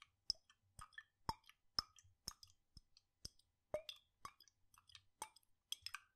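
A glass jar with a red lid, partly full of blue liquid, is swirled and shaken in one hand with fingertips on the glass. It gives a steady run of sharp, bright clicks about twice a second, each followed by a brief liquid plop and slosh. The sound is quiet and dry, with almost no ring after each tap.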